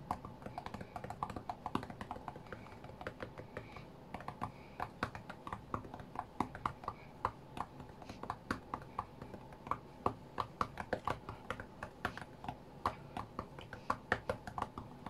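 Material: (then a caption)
Glass. Fingertips of both hands tap on the glass touchscreen of a white iPad lying flat on a mat. The result is a steady, quiet stream of fast, short, dry clicks in an uneven rhythm, each one dying out almost instantly.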